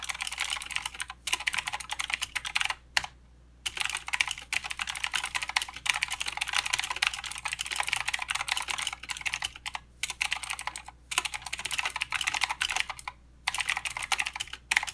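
Both hands type with their fingertips on a mechanical keyboard with plastic keycaps and blue switches. Fast, steady, bright clicks run through the clip, broken by a few short pauses, and each click is crisp with almost no ring.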